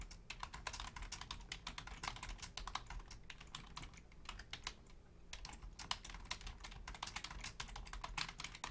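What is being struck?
Plastic membrane computer keyboard.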